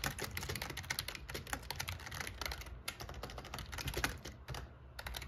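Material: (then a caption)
Plastic. Fingertips type steadily on the black plastic keycaps of an RGB plastic membrane gaming keyboard with a metal plate. The result is a rapid, continuous stream of short, bright clacks that die away almost instantly, over a steady low background hum.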